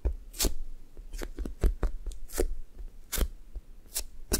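Index fingertips poke and tap a blue sticky foam squishy toast toy while long nails press into its soft surface. The result is a quiet series of short, sticky, crackling taps with bright edges over soft low thumps, each dying away almost instantly.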